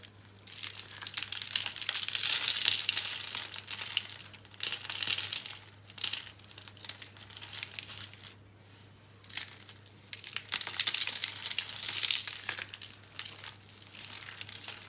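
Small rolled curls of dry lime green and pink bar soap on a blue surface are squeezed and crushed by fingertips and palms into crumbs. Dense, bright crinkling and crunching comes in swelling bursts, with a brief quiet gap before the crushing resumes.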